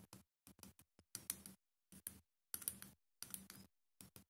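Fingernails tap on a small clear glass W7 Night Glow liquid highlighter bottle, held in the hand, with a white plastic cap and pink liquid inside. Quiet, bright clicky taps come in short rapid bursts separated by brief pauses, each tap dying away almost instantly.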